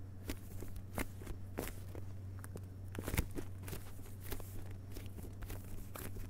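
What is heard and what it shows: Fingertips tap across the front cover of a hardcover book with a glossy paper dust jacket lying flat on carpet. The result is a quick run of soft, dry, short taps with bright clicky edges over a steady low hum.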